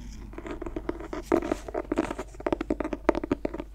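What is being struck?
Clothbound hardcover book cover.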